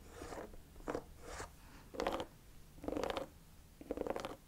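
Long fingernails tap and scratch the treads of the chunky, hollow-cleated beige rubber sole of a cognac suede ankle boot held up sole-out. The result is a series of short, scratchy, rasping bursts with a hollow midrange tone and bright, gritty edges, separated by quiet gaps at an uneven pace.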